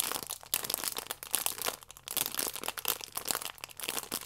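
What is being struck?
Stack of yeast sachets wrapped in plastic film.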